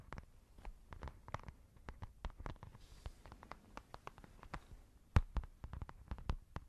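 Long nails scratch and tap a soft, hollow, white textured fabric makeup pouch. The result is a quiet, rapid patter of dull, low thumps and short dry clicks with no ring, broken by soft scratching and a few sharper taps near the end.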